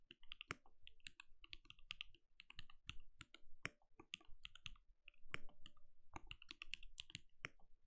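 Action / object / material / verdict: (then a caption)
tap / mechanical keyboard, plastic keycaps / plastic / none. A compact RGB-lit mechanical keyboard with a translucent plastic case and plastic keycaps, resting on a desk, is typed on steadily with the bare fingertips of both hands. Dense, quick clicky keystrokes overlap into a continuous patter, each with a bright plastic snap and a soft low thock that dies away almost instantly.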